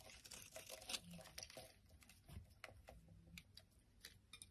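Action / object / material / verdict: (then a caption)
scrape / bar of soap / soap / none. A utility knife blade shaves and scrapes a palm-sized, solid yellow bar of soap held in the hand, cutting it into flakes. Quiet, crisp scraping and crunching strokes follow one another with a bright, crackly texture and a faint low rumble underneath.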